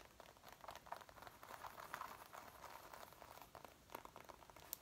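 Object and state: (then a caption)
Faux leather jacket. Long painted nails and fingertips scratch and rub the front panels of a worn dark brown faux leather jacket near the waist and chest, over the soft flexible material. The result is a quiet, steady crinkling and scratching patter with many small dry ticks, centered in the mids with little low end, and a sharper bright click right at the end.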